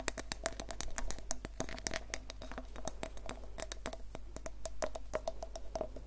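Long painted fingernails tap and scratch a small hollow vinyl Funko Pop Groot figure held close to the microphone. Quick, dry clicks with a faint hollow ring around 600 Hz come in a dense, uneven patter over a steady low hum, mixed with soft scratching.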